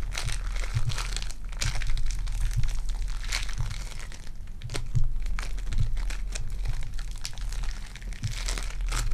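Purple foam-bead clay is squeezed in the fist and stretched between both hands, giving a steady stream of dense crinkling, crunching and popping. Brief bright crackles come through over a constant low rumble.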